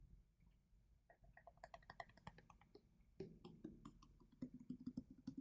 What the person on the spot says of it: en tapping, avec le changement de son en fonction de l'eau